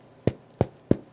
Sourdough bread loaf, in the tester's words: Nice hollow sound means it's well baked and it's finished.